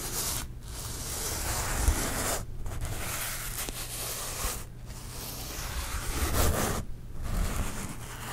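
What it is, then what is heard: Glitter foam heart. Nails and fingertips rub and scratch slowly across the glittery surface of a flat, thin, solid pink glitter foam heart held close. A continuous gritty, broadband scraping is heard, with low rumble underneath and brief quiet gaps between strokes.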